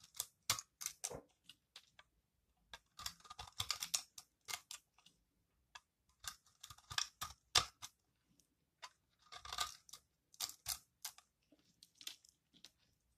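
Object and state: Dry soap shaved with a blade.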